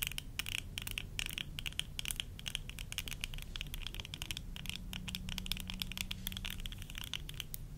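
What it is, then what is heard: Plastic eyeglass frames. Long nails tap rapidly on the temple arms and lens rims of worn tortoiseshell plastic eyeglasses. The result is a dense, steady stream of short, crisp clicks with a bright, high edge, set over a constant low rumble and a faint hum that appears in the second half.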